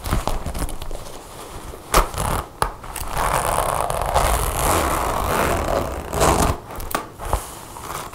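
A dark brown leather (or faux leather) jacket with metal zippers and snap buttons lies flat on a table while long blue-painted nails handle the zipper, then fast-tap and scratch the leather surface. The sound is a dry, rustling mix of scraping and crinkling with sharp, clicky taps and low thuds, steady in level with a few louder snaps.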